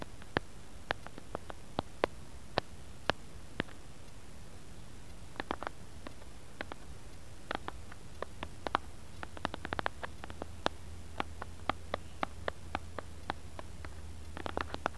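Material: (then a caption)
Plastic. Fingertips and short nails tap and scratch the surface of a flat, round, white plastic lid-like disc with a printed center, lying on a cutting mat. Dozens of quiet, sharp, bright clicks come in irregular bursts, some in quick clusters, over a steady low hum.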